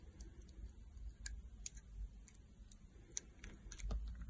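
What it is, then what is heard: Soap bar being cut with a blade. A metal utility knife blade carves a solid green oval soap bar held in the palm, scoring ridges into it. Short, sharp, bright clicks and scrapes come through quietly over a steady low rumble.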